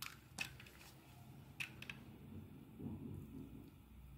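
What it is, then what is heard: Bar of soap being shaved. A steel utility blade scrapes and shaves slices from a solid yellow bar of soap held in the hand. Five short, bright scratchy strokes stand out, with a crisp ring near 2.6 kHz, over a soft, low, crumbly shaving texture that fills the gaps.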